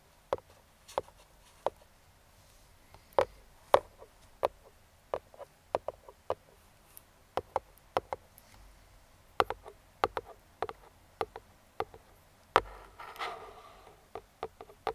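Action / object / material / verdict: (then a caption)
tap / cardboard box tapped with metal picks / cardboard / none. Metal claw fingertip picks tap and trace the printed image on the lid of a grey printed Neewer cardboard product box. Short, crisp ticks sound at an irregular pace. Around 13 seconds there is a brief soft scraping swipe before the tapping resumes.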